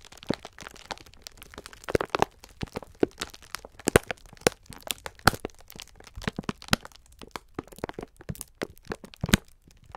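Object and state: Plastic-wrapped sponge scourer pack being crinkled.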